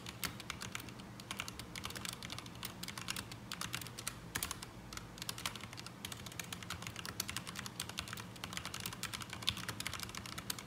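Fingertips of both hands type continuously on a black mechanical keyboard with ABS plastic keycaps resting on a desk mat, producing an unsatisfying sound. Each keystroke is a short, dry, bright plastic clack that dies out almost at once. The clacks come in a fast, steady stream over a faint low hum.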